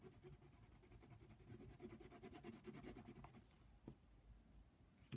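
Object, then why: Colored pencil on a paper coloring page. A brown colored pencil colors around the horn of a giraffe on a paper coloring book page lying flat, giving a steady, quiet scratching of lead on paper. Soft, low-heavy strokes run continuously, with a few slightly sharper scratches near the end.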